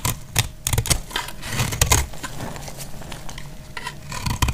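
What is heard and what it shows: A hand-held solid bar of dried, multicolor speckled soap is cut and scraped with a box-cutter blade. Sharp, dry clicks and crackly scraping strokes come in quick bursts, with bright, gritty texture over a soft low rumble. Each cut stops short with almost no ring.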